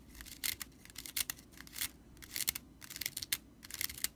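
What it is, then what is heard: Broomcorn straw whisk broom being scratched. Fingertips and nails scratch the bundled dry straw of a red-stitched broomcorn straw whisk broom with a metal ferrule near the handle. The result is a quiet run of short, crisp, bright rattling scratches in irregular bursts, with almost no low end and a faint band near 2 kHz.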